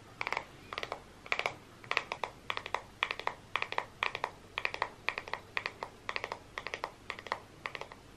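Fingertips and nails scratch and rub the many bristles of a solid, hand-held black plastic paddle hairbrush. The result is quick clusters of crisp, dry ticking scratches repeating at a steady rhythm, bright and high-pitched with no ring after each stroke. The overall level is soft.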